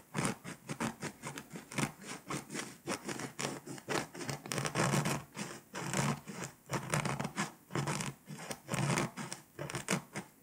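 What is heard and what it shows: A pink scraper, held by a hand with long nails, scratches the foil coating off a flat foil-coated paper scratch-off world map. Quick, irregular bursts of dry, bright scratching and rasping follow one another, with brief pauses between strokes.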